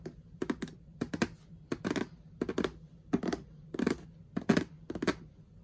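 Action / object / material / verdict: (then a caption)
tap / plastic storage box lid / plastic / none. Long nails and the fingertips of gloved hands tap and scratch an orange plastic lid with a handle, which sits on a hollow storage box filled with ribbon spools. Quick, sharp plastic clicks come in small clusters, with short scratchy bright bursts between them. A faint steady low hum sits underneath.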